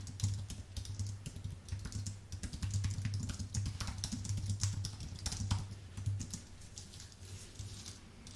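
Fingertips type steadily on a white full-size Apple Magic Keyboard with plastic keycaps on an aluminium base. Rapid, crisp key clicks with bright edges sit over a steady low hum, and the typing grows a little quieter toward the end.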